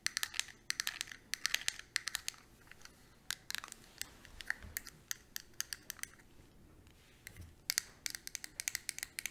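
Long nails tap and scratch the lid of a small square eyeshadow palette with a clear hard plastic case, held in the palm. Fast bursts of sharp, bright, high-pitched clicks and scratchy rasps come in quick clusters separated by brief quieter pauses, each tap dying away almost instantly.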